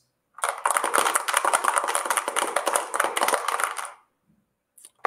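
An object wrapped in a dish cloth is shaken at the same strength and distance as before, giving about three and a half seconds of dense, bright rattling with a few faint clicks afterward. The reading comes out slightly lower than the unwrapped control, so the cloth muffles the sound a little.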